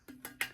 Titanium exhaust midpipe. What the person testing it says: it sounds like plastic it's so thin